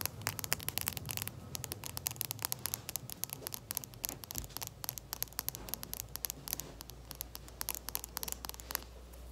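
Long red-painted nails tap and scratch along the barrel of a small, hollow, capped plastic dual-tip marker held up in both hands. The result is a rapid stream of sharp, bright clicks and scratchy rasps over a steady low hum. The clicks are dense in the first half and become sparser toward the end.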